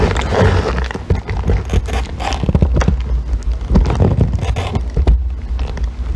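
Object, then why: Small bar of soap scraped with a metal tool. A metal extractor tool scrapes and shaves a small remaining piece of solid green bar soap held by fingers with long nails. The sound is a dense, continuous run of rough, crackly rasps, heavy in the low end with little brightness.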